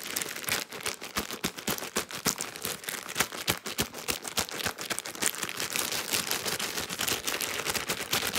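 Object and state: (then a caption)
Soft plastic wipes pack. Long pink nails tap, scratch and crinkle fast on a full, soft plastic-film Huggies wipes pack. The result is a dense run of quick, bright crackling taps and rustling scratches with very little low end, each hit dying away almost instantly.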